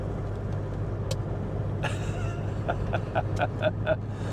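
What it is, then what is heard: Empty glass jam jar. A dog taps an empty glass jam jar inside a vehicle as a signal for a treat; the jar normally holds her biscuits. Over a steady low engine rumble, a run of quick, light, ringing glass taps with a mid-pitched tone grows slightly louder toward the end.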